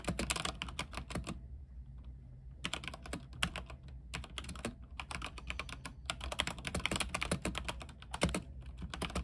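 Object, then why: Mechanical keyboard with plastic keycaps. Fingertips of both hands type on a mechanical keyboard with white plastic keycaps on a silver frame with backlight. Quick bursts of sharp, bright clicks and clacks come over a steady low hum. There is a brief pause after the first second and a shorter lull near the middle before the typing picks back up.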